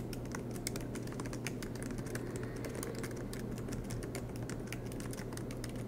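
Both hands type continuously with their fingertips on the black plastic low-profile keys of a MacBook Pro laptop with a silver aluminum body, resting on a green desk mat. Rapid, light key taps click over a steady low hum.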